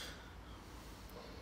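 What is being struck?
Nothing is struck.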